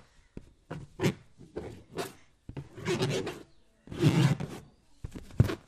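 A green latex balloon filled with liquid is rubbed and patted with the flat palm and fingertips. The result is a series of irregular rasping, squeaky rubbing bursts with dull, low thuds and soft sloshing between them.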